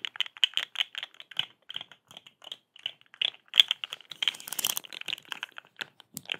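A hollow, rainbow-striped corrugated plastic pop tube, held in both hands, is stretched, bent and scratched with long acrylic nails. About two dozen quick, dry, bright clicks and scrapes centred near 3.4 kHz follow each other in uneven bursts with almost no low end. A denser, louder crinkling rasp comes just past the four-second mark.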